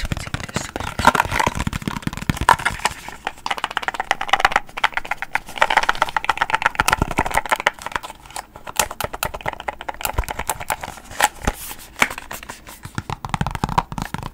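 A small, empty, hollow white cardboard product box is held in one hand and tapped and scratched with long painted nails close to a microphone. Fast, irregular clicking taps mix with dry scratching, giving hollow papery knocks centered in the midrange with bright edges. Each tap dies away almost at once.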